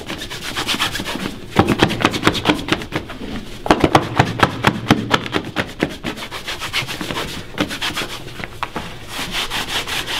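A hand rapidly buffs the toe and vamp of a polished black leather dress shoe with a taut white cloth, the shoe worn on a foot resting on a wooden shoeshine stand. Quick, uneven rubbing strokes come in fast bursts, with sharper snapping swipes standing out over a steady bright, hissy friction.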